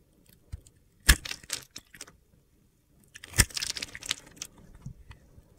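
A metal box-cutter blade scores and scrapes a solid, blue glitter-topped bar of soap held in the hand, carving it into small cubes. The result is two bursts of crisp, gritty crunching and scratching, each opening with a sharp crack. Small chips fall onto the table with light ticks in between.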